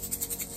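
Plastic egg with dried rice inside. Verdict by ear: Not overfilled.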